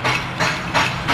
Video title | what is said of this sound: missing problem for mahindra rodeo - missing problem for mahindra duro - big problem for mahindra - | हिला के देखो, आवाज़ आ रही होगी देखो, तो इसको ये फ्लूट हमारा काम कर रहा